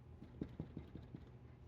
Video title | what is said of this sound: Easiest Best Bread Ever, my bread my way | it sounds hollow